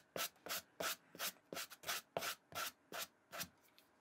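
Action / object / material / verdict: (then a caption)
scrape / suede shoe upper scrubbed with a plastic bristle brush / suede / none. A plastic suede brush with white bristles is scrubbed back and forth across the suede upper of an empty black and white Vans slip-on shoe held in the hand. About twelve quick, bright, scratchy brushing strokes follow in a steady rhythm, each a short hissing rasp.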